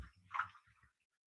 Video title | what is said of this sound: Nissan Altima BAE Update- Always Front To Back! | you can hear it like sloshing around